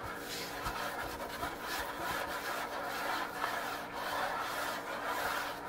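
Fingertips and nails tap and scratch the flat surface of a large solid wooden kitchen countertop with quick hand movements, while the nearby tins and jar stay untouched. The result is a steady, dry rubbing and scraping texture centered in the mids with a bright hiss above, broken by soft, irregular taps.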